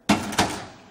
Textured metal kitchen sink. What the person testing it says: les sons sont ainsi plus sourd bien sûr c'est moins musical